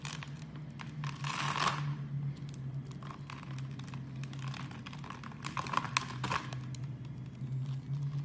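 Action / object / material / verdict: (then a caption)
scrape / bar of soap / soap / none. A knife blade scrapes and slices thin strips off a palm-sized, pink-and-white striped soap bar with an embossed logo, held in the hand. The cutting makes crisp, crinkly scraping and crackling sounds with bright, dry edges and no ring, over a steady low hum.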